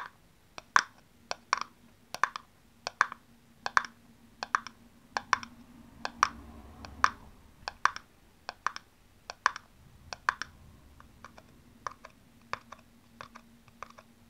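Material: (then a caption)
Plastic. Long nails tap and scratch the sides of a small, hollow, empty blue plastic aerosol cap held in the hands. The result is an irregular run of sharp, dry clicks centered around 1 kHz, with bright edges and almost no ring, over a faint steady low hum. The taps grow slightly softer toward the end.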